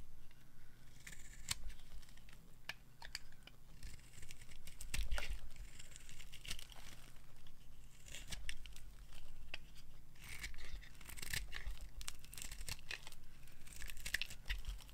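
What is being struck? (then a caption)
Bar of soap cut with a knife. A hand-sized, solid orange bar of dry soap is held in the palm and cut and scraped with a metal knife blade. Crisp, dry scraping and crumbly, tearing cuts come in uneven bursts, with sharp clicks and a bright hiss over a steady low hum.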